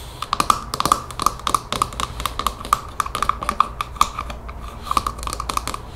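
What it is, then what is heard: Plastic spray bottle trigger head. Long painted fingernails tap rapidly on the white plastic trigger head of a partly filled spray bottle held in the palm. A quick, uneven run of dry, sharp clicks follows, each with a faint hollow plastic tone around 1.2 kHz that stops almost at once.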